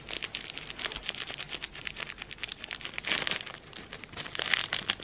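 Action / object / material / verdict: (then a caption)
scrape / thin plastic sleeve around incense sticks / plastic / none. A thin clear plastic sleeve printed with the Stamford logo, wrapped around a bundle of incense sticks, is crinkled and rubbed between the fingers. A steady stream of bright, dry crackles and rustles is heard, with almost no low end. It swells into louder bursts just after three seconds and again near the end.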